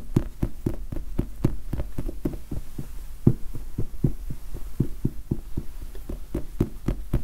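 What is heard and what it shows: Fingertips tap and scratch a large red foam sponge die held close to the microphone. A steady, rapid series of soft, muffled thumps stays low and dull, each dying away almost at once, over a faint scratchy rustle and a constant low hum.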